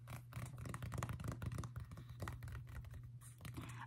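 Long painted nails of both hands scratch and tap a sage-green quilted cotton bucket hat worn on the head, its fabric soft and hollow. A dense run of quick, muffled taps and scratchy rustles sits over a steady low hum, the sound dull and weighted toward the low end with little brightness.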